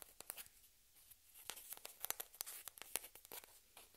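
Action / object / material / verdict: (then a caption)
tap / plastic table-tennis ball / plastic / none. Long red-painted fingernails tap and scratch a single small, hollow white plastic table-tennis ball held in both hands, with spare balls resting unused on the cloth. A quiet, irregular run of sharp, bright clicks mixes with faint high scratchy rustles. Each tap stops almost instantly, leaving little low end.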